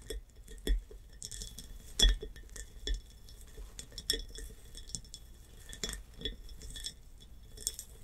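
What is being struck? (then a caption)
Glass jar with bumpy surface. Long nails tap and scratch the bumpy surface of a tall textured hobnail glass jar with a metal clasp lid, filled with blue water beads. Light, irregular glassy clicks and clinks mix with a bright, scratchy rasp, each tap fading quickly with only a brief ring.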